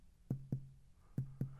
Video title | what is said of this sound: Pneumonia - Clinical Features | that's tympanic it sounds hollow drum like right pretty loud